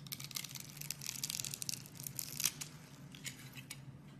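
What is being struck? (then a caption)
Soap bar cut with a knife blade. A metal utility knife blade scrapes and cuts the scored face of a hand-sized solid teal-green bar of soap, held in a hand with red nails, into small soap cubes. The result is a quiet, steady run of bright, crisp scraping and crumbly crackling, with sharper snaps along the way and a faint low hum underneath.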